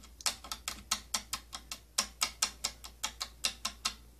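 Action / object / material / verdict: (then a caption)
tap / plastic compartment tapped with fingernails / plastic / none. Long nails tap on the rim and side of a hollow, round purple plastic inner compartment with holes from a tattoo kit. About 18 quick, bright, dry clicks come in an uneven rhythm, each fading almost at once with a faint hollow body.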